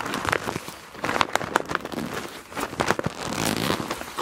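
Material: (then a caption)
PVC plastic. A medium, flat clear PVC zip pouch with a black palm-leaf print, full of felt-tip markers and lying on black fabric, is slowly gripped and squeezed by both hands with long dark nails. Soft plastic crinkling and crackling mixes with the dull shifting and clicking of the markers inside, in short bursts that swell and fade throughout.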